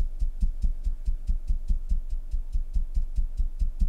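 A padded knitted wool sock heel, stretched on a sock board of the same thickness as a normal heel, is knocked against a table 19 times in a steady, quick rhythm. Each knock is a dull, low thud with almost no ring. The padded heel sounds much more cushioned than a normal heel.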